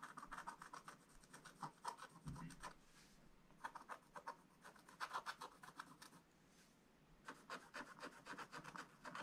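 A wooden stylus tip scratches across a black-coated scratch-art page in a spiral book, etching strokes on a drawn barn roof. Quick, dry scratching strokes come in three bursts separated by brief quiet pauses, with a papery rasp centered in the mids and a faint bright hiss above.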